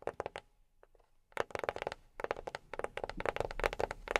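A box is tapped with silicone rubber pads worn on the fingertips, giving quick, dry, soft taps with a mid-range knock and a brief bright click. The taps come in rapid clusters with a short quiet gap before they resume densely, and each one dies away almost instantly.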